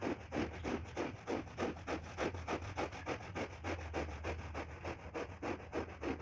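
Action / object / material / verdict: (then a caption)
scrape / synthetic pile rug scrubbed with a stiff push broom / synthetic fiber / none. A push broom with stiff bristles scrubs the pile of a wet, foamy, ladybug-shaped red and black synthetic shag rug back and forth. About 21 quick, steady scrubbing strokes come at roughly three per second, each a wet, swishing rasp centred in the low mids. A faint low hum runs underneath.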